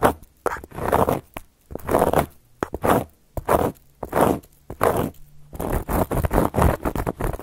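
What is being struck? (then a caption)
Cork coaster. Long gold metal claw nail covers on the fingertips scratch and trace across a round, flat, solid cork coaster. The result is a series of dry, raspy, zipper-like strokes in short bursts separated by brief pauses, ending in a quicker run of scratching.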